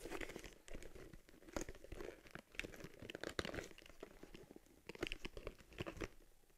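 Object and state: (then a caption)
Leather camera case. Long nails tap and scratch across the round lens cover and stitched front of a small, empty, hollow cowhide leather camera case for an Argus C3. The result is a quiet run of dry, crinkly clicks and scuffs with a soft, low-mid leathery thud under bright scratchy edges. Each touch stops short with no ring.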